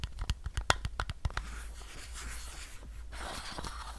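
Fingernails tap and scratch the side of a hollow white plastic supplement bottle with a label and a white cap. About ten quick, dry taps with almost no ring come first, then they give way to a steady, bright scratching that continues to the end.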